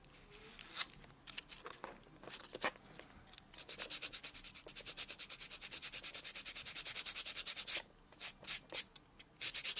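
A white solid foam buffer block is rubbed back and forth across natural fingernails, buffing them. Soft, bright, scratchy strokes come irregularly at first, then settle into a long, steady run of rapid rhythmic rubs. After a brief pause, a few more separate strokes follow, all fairly quiet with almost no low end.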